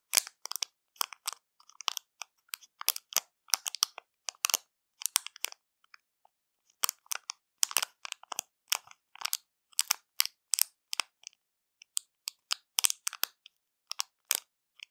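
Long matte nails tap and scratch the thin plastic foil wrapper of a sealed, flat, full orange and brown XXL chocolate bar lying on a dark cloth. The result is quick, bright crinkling and crackling bursts with almost no low end, broken by a brief quiet pause around the six-second mark.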